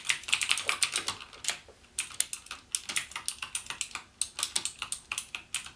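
Fingertips type rapidly on a backlit plastic mechanical keyboard with clicky Cherry MX Blue switch keys, about 34 sharp keystrokes in a quick, uneven rhythm. Each click is bright and crisp with almost no low end and dies away almost instantly, with brief pauses between bursts.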